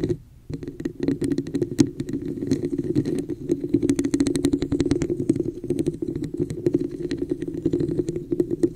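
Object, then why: Textured plastic cup. Long nails tap rapidly on the sides of a hollow red textured plastic cup with an embossed pattern, held over the microphone. The taps come in a fast, steady stream of dry, short clicks over a hollow, low-mid resonance, after a brief pause near the start.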